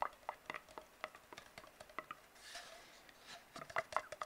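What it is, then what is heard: Empty hollow cardboard tube. Fingertips tap and scratch an empty, hollow brown cardboard tube. Quick, soft, hollow taps with a short ring around 1 kHz are broken up by a stretch of breathy, high scratching in the middle before the tapping resumes.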